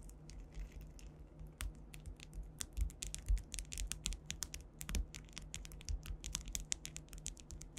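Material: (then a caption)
Acrylic. Long white acrylic nails tap and scratch across a large, solid flat panel covered in rows of faceted clear rhinestones (likely acrylic), with the microphone directly above. The result is a quick, irregular stream of short, bright clicks and scratchy ticks that stop almost instantly, over a steady low hum.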